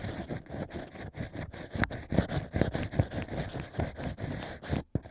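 A stack of natural wine corks is scratched inside its holes with bamboo ear picks. The result is a steady run of dry, rough scraping and crackling strokes, irregular and close, with low body and a slightly brighter crunch on the stronger strokes.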